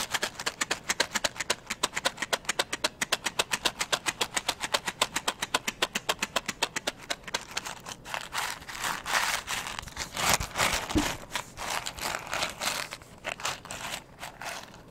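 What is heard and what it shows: A small translucent plastic cylindrical container full of wooden toothpicks, held in one hand, is tapped with long yellow-painted nails, giving a fast, steady run of sharp, bright clicks for about seven seconds. It is then shaken, and the taps turn into a denser, uneven rattle of toothpicks knocking inside the plastic.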